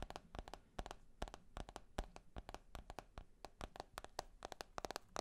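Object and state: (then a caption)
Smartphone with glass and metal body. Fingertips and nails tap and scratch the glass screen and silver metal edge of a handheld smartphone with a glass and metal body. A quick, irregular run of short, dry clicks with a mid-pitched tick, each dying away almost instantly, sits over faint soft scratching between the taps.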